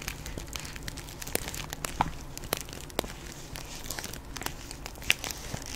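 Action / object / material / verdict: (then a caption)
scrape / plastic bag of hard candy / plastic / none. Long pink acrylic nails scratch and tap a plastic Jolly Rancher hard candy bag filled with candy, held close to the mic. The bag crinkles steadily, with sharp, bright clicky taps scattered over a soft, constant low rumble. Each tap dies away almost instantly.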